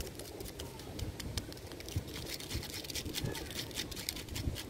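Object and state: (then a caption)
Solid tree trunk bark. Fingertips and short nails of one hand scratch and tap the thick, rough, furrowed bark of a large, solid living tree trunk. A steady, dry scratching texture fills the clip, broken by bright crackles and soft, dull low thuds from the taps, each dying away at once.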